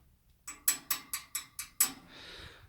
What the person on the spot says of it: it sounds like metal to me